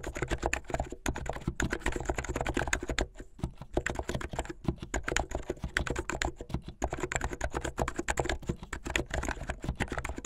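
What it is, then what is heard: Plastic mechanical keyboard. Fingertips with medium-length painted nails type fast on a plastic mechanical keyboard with white and blue plastic keycaps. A rapid, dense stream of short clacky keystrokes with a low thump behind each one, broken by a brief lull around three seconds. Every keystroke dies away almost instantly.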